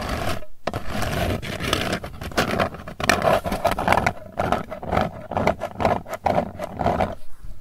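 Long nails scratch across the lid surface and rim of a round, hollow Hershey's Kisses metal candy tin. The result is a dense, continuous scraping texture of quick rasping strokes with a steady mid-range tone, broken by brief pauses.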